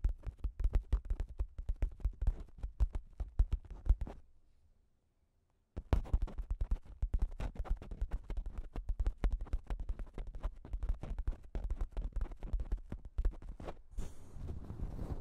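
Long acrylic nails scratch the top of a pink plastic shower cap with a cat print, stretched over a Zoom H6 recorder. Dense, rapid crinkly scratches land as a heavy low rumble. They stop for about a second and a half of near silence, then resume just as busily until the end.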